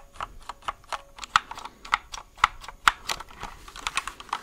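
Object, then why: Plastic mechanical keyboard keys. Fingertips press and tap the keys of a compact white plastic mechanical keyboard held close to the microphone. About twenty short, dry clacks come in an uneven typing rhythm, each bright and centered around 1.3 kHz with almost no ring or low end.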